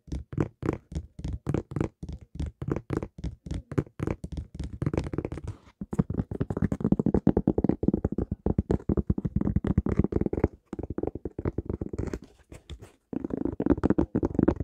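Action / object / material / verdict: tap / sneaker with rubber sole / rubber / none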